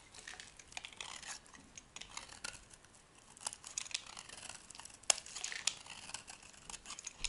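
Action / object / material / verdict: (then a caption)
scrape / solid bar of soap scraped with a metal blade / soap / none. A solid white oval bar of dry, soft soap is carved and scraped with a metal blade. The result is a quiet, steady run of bright, crisp scraping and crumbly crackling, almost entirely high-pitched with little low end. A few sharper, louder snaps stand out near the middle.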